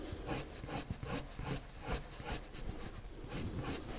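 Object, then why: Colored pencil on drawing paper. A pale colored pencil shades a circle on a flat white sheet of drawing paper with quick back-and-forth scratching strokes. Each stroke gives a dry, bright scratch over a soft low rumble, repeating at a loose, uneven rhythm of roughly two to three strokes per second.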